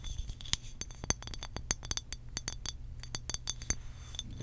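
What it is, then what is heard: Glass water bottle tapped with fingernails. Long pink acrylic nails tap and scratch a hollow blue glass water bottle with a cap, making a quick, irregular series of sharp clicks. Each tap gives a brief, bright glassy ring, with soft scratching in between over a low, steady hum.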